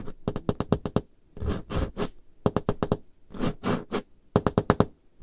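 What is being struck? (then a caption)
Wooden table top. Painted fingernails of both hands tap rapidly on a large, solid, dark-stained wooden table top, producing quick runs of short, dry knocks. The runs alternate with longer, broadband scratching swipes across the surface. The taps are low and thuddy with almost no ring.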